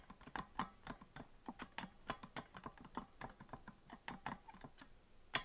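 Fingers rapidly tap the keys of a hollow green plastic melodica without blowing into it, producing about twenty quick, dry plastic clicks. Each click is short and sharp with a mid tone around 1 kHz and a faint bright edge, dying away almost instantly.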